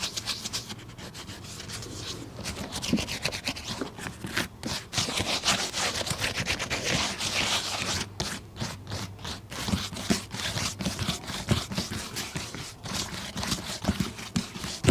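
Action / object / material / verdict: scrape / leather ankle boot / leather / none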